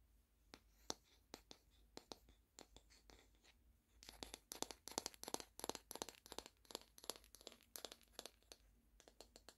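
Long painted fingernails tap and scratch a flat, round, solid wooden coaster with a plant print, held close up. Sparse, sharp, dry clicks for the first four seconds give way to a denser flurry of bright taps and scratchy scrapes. Each hit stops almost instantly, and the overall level stays quiet.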